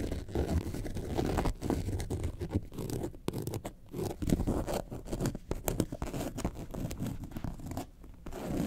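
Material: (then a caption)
Faux leather. Long nails scratch the top and side panels of a yellow faux leather bag shaped like a lemonade carton, lying flat. The result is a steady run of short, rough scratching strokes, dull and low-heavy with little brightness, rising and falling in intensity without pause.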